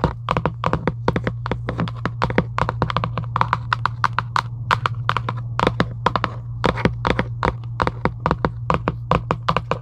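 Long acrylic nails tap rapidly and irregularly near the top edge of a hollow Giant UNO cardboard box lying flat. Each tap is a short, dry click with a hollow, papery thunk around 1 kHz and almost no ring. A steady low hum runs underneath throughout.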